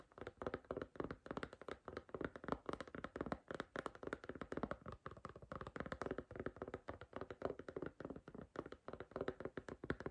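Long green nails tap and knock rapidly on the back and edge of a striped silicone iPhone case. The steady stream of soft, dull clicks and muted thuds dies out almost instantly, with no ring.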